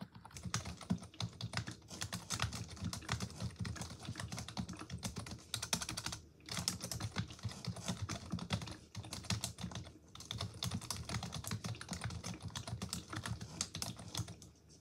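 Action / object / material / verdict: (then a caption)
tap / plastic computer keyboard / plastic / none. A full-size black plastic computer keyboard on a wooden desk is typed on rapidly with long acrylic nails and fingertips, giving dense bursts of bright, clicky key taps over a low thudding body. The typing runs nearly continuously, with brief pauses around 6 and 10 seconds.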